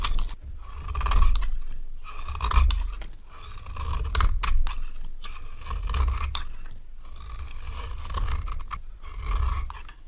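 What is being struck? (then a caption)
Bar soap scraped by a metal knife. A solid rectangular orange bar of dry soap is scraped with a metal knife, peeling off orange shavings. Repeated dry scraping strokes rise and fall in loudness, each pass a gritty rasp with a faint tone near 1 kHz over a heavy low rumble.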